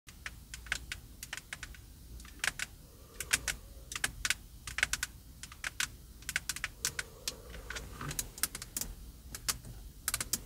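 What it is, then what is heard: Plastic steering wheel airbag cover. Long purple acrylic nails on both hands tap and scratch the large, hollow, plastic- and leather-covered airbag cover on the center hub of a Cadillac steering wheel, along with the nearby spoke buttons. The result is a quick, irregular run of sharp, bright clicks that die away instantly, with faint scratching between them over a low steady hum.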